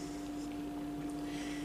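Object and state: Nothing is struck.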